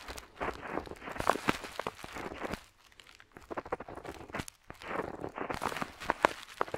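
A metal dip pen nib scratches across a flat paper map sheet while lettering, heard up close. Short, dry, scratchy strokes come in quick irregular bursts, with brief quieter gaps around the three- and four-and-a-half-second marks. The sound is mostly midrange, with little low end and little bright hiss.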